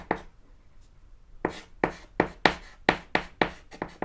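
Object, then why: Chalk stick on a small chalkboard panel. A thick white chalk stick scratches strokes across a small, solid, flat black chalkboard panel while writing. One short scratchy stroke is followed by a pause of over a second, then a quicker, uneven run of about ten crisp, bright scraping strokes. Each stroke has a sharp onset and little ring.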